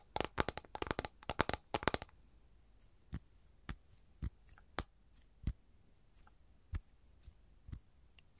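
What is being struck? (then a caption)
Flat capiz shell tray. Long gold nails scratch and tap across the surface of an empty, flat capiz shell tray. A quick, dense run of crisp clicks and scrapes fills the first two seconds, then slows to single sharp, bright taps spaced apart. Each tap dies away almost instantly, with no ringing.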